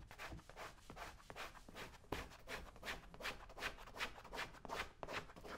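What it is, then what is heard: Leather boot being scraped. A small metal blade scrapes along the shaft of a brown leather cowboy boot held steady by one hand. It makes quick, fairly regular rasping strokes with a dry, bright, broadband texture, each stroke fading almost at once.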